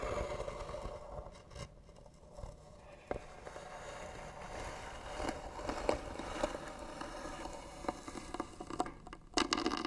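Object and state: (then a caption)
Wooden box, hollow. Fingernails scratch across the lid of a hollow white wooden box with pearl trim and a brass hinge. The result is a quiet, steady hollow scraping with a mid-pitched tone, broken by occasional sharper clicks and crackles that grow louder near the end.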